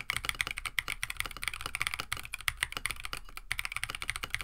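Both hands type rapidly with their fingertips on a compact 65% KBD67 Lite mechanical keyboard with a plastic case, FR4 plate, PBT keycaps and stock Oolong switches, resting on a desk mat. The result is a dense, steady stream of short, crisp clacks with a bright tone centered near 2 kHz. A soft low thump sits under each press, and each one dies away almost instantly.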